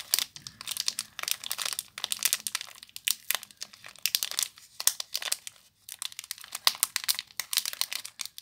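Long nails and fingertips crinkle and scratch the clear plastic wrapper of a small Disney h2o+ soap bar. Dense, bright, high crackling comes in quick bursts separated by brief pauses, with almost no low end and no ringing after each crinkle.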